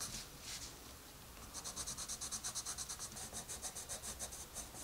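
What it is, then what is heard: Colored pencil scratching on a paper page. A dark wooden colored pencil with a red end scratches dense strokes across a page of an open paper coloring book lying flat. The sound opens with a few slow, bright scratches, then settles into a fast run of quick, rhythmic back-and-forth strokes with a soft, papery, high hiss.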